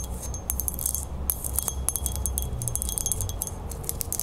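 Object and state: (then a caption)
Metal crown. Long fingernails rapidly tap and scratch the band and flat fleur-de-lis base of a small, silver-toned, hollow ring-shaped metal crown with spiky points, held in the hands. Quick, bright metallic ticks and short, high chiming rings sound over a soft scratching texture and a steady low rumble.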